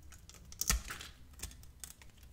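A metal utility blade slices and scrapes thin strips off a hand-sized solid bar of purple-blue metallic soap, held in the hand and pre-scored into grooves. A string of crisp, dry, clicky scrapes with bright edges is heard, with one sharper, louder cut near the start. Short crackles follow, then fade back to a soft hush.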